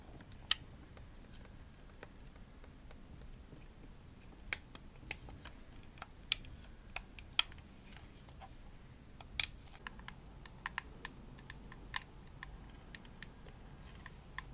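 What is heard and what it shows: Long nails tap the shell of a hollow pink plastic Xbox controller as it is moved toward the face. About fourteen sharp, bright clicks fall at uneven intervals, each dying almost instantly over a faint low hiss.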